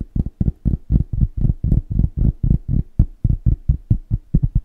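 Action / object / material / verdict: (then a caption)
tap / cork coaster / cork / none. A round, flat, solid cork coaster about the size of a plate is held up in front of the mic and tapped fast with the fingertips of both hands. It gives 21 dull, low, muffled thuds at about four per second in an uneven rhythm. Each tap dies away almost at once with no bright ring.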